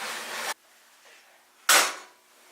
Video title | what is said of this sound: How to Make Fresh Bread with a Bosch Mixer | That sounds pretty good, doesn't it? Sounds done.